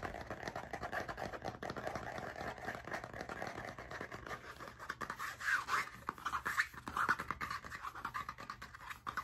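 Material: Cardboard.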